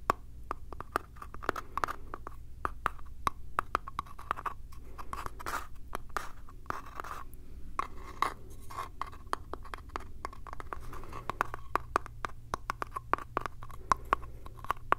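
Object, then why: Small wooden box with metal clasp. Fingertips and nails tap and scratch the lid and side of a small hollow light-wood box with a brass latch, held close in one hand. Quick, dry clicks land in rapid, uneven bursts over a steady scratchy rasp, with a hollow ring near 1 kHz and a low hum underneath.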